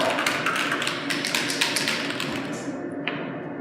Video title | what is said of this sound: SIKA Primer 207 Application | shake until you hear the mixing balls begin to rattle